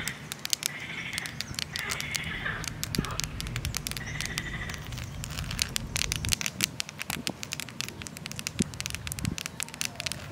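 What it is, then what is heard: Granite boulder tapped and scratched with nails. Very long, curved purple nails on both hands tap and scratch the rough surface of a large, solid, pinkish-red granite boulder outdoors in a park. The result is a dense, steady stream of sharp, bright, crackly clicks and scrapes with very short decay.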